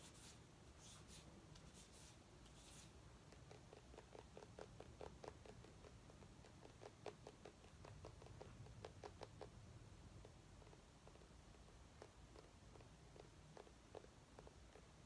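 A small orange mini pumpkin with a stem, held in the hands, is scratched and tapped with long nails. A few bright, brushy scratches open the clip, followed by a steady run of quiet, short taps with a hollow mid-pitched tone over a soft low rumble.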